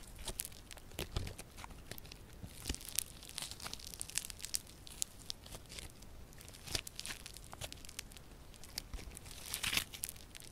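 Yellow crunchy slime with a grainy foam-bead texture is spread flat, then folded and squeezed in the fists, worked by both hands with long purple nails. It gives off a steady stream of dense, bright crackling and popping crunches with short, sharp snaps and soft low squelches underneath.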